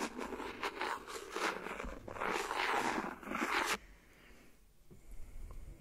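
The back end of a clear plastic pen taps and scratches along the edge of an empty, hollow, thin clear silicone phone case lying flat on top of the recorder. Dense, bright scraping and scratching comes in rough bursts for nearly four seconds, then drops to a much quieter hiss with a few faint, light taps.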